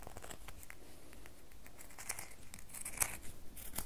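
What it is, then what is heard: Bar of soap scratched with fingernails. A solid red bar of soap held in both hands is scratched with long nails. Dry, crackly scratching is heard as a run of short, bright scrapes and ticks over a low background. The scrapes grow sharper and louder toward the end.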